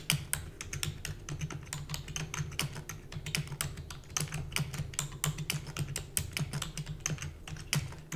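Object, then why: Plastic computer keyboard. Rapid typing on a full-size black plastic computer keyboard with hollow keys, struck with long natural nails and fingertips. Dense, bright, clacky taps follow each other quickly over a steady low hum, each click dying away almost instantly.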